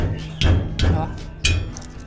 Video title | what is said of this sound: malalaman na kunsumo sa kuryente araw araw #hobby #diy #diyprojects #solar #solarenergy #solarpower | ngayon, wala na siyang tunog bakal